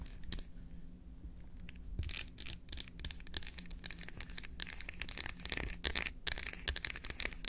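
An unwrapped solid dark chocolate bar, held in both hands, is tapped and scratched across its face and edges with long acrylic nails. Quick, dry, bright clicks and scratchy strokes come in dense bursts over a steady low hum, with no ringing after each touch.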